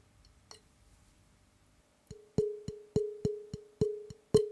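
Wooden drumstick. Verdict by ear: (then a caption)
High-pitched. A wooden drumstick, picked out as the high-pitched stick of a pair, gives one faint tap and then nine quick, dry taps at an irregular pace. Each tap rings briefly with a clear woody tone near 420 Hz, confirming it as the high-pitched stick.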